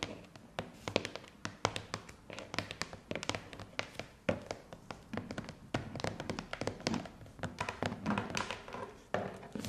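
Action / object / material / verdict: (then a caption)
tap / corrugated cardboard box / cardboard / none. Long painted nails tap rapidly and irregularly on the sides and corners of a hollow, medium corrugated cardboard parcel box wrapped in postal tape, resting on carpet. Each tap is a short, dry click with a hollow, papery thunk and almost no ring, forming a dense, steady stream of light taps with occasional sharper accents.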